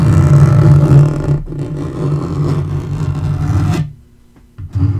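Fingernails scratch and scrape across a dark wood-grain laminate portable table top, making a steady, low, rasping scrape that is loudest in the first second and a half. The scraping continues a little softer, drops to near silence just before the four-second mark, then starts up again at the end.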